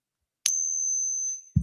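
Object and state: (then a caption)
Eisenhower dollar, not silver. An Eisenhower dollar is pinged once on a silver ping tester, giving a sharp strike followed by a thin, high ring of about one second, then a low thump. The coin is not real silver, probably clad base metal, and its ping sounds different from silver.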